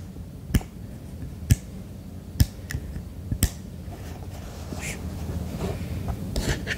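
Fingertips tap quickly on the underside and base of a white silicone duck night lamp. Several short, dry taps land at irregular intervals, each a dull low thump with a brief bright click and almost no ring. A steady low background hum continues, with softer faint scraping toward the end.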